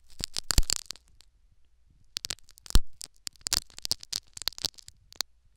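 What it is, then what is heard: Needles scratching a foam plug in an ear microphone. Syringe needles scratch a foam sponge plug set in the canal of a silicone ear microphone, making close, crackly scraping and sharp ticks with bright highs over a low rumble. Dense bursts come at the start, then a near-silent pause, then more scattered scratches through to the end.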